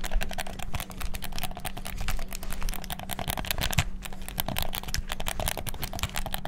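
Fingertips rapidly click the buttons of a black PS4-style plastic gamepad. A dense, fast stream of short, dry plastic clicks runs continuously over a steady low hum.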